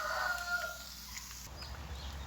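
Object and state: Nothing is struck.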